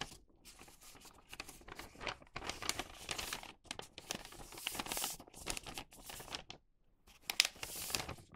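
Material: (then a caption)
Newspaper. A thin printed newspaper tube for a paper bag is held in both hands and bent, flexed and creased with the fingers. Bright, dry paper crinkles and crackles come in uneven bursts with short quiet gaps and very little low end.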